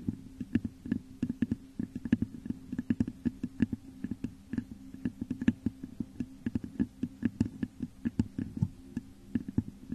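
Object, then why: Textured glass vase. Long nails scratch and tap the top of a hollow, textured, clear glass vase turned upside down over a microphone. A steady run of quick, sharp clicks rings briefly over a low, hollow resonance that hums beneath the taps throughout.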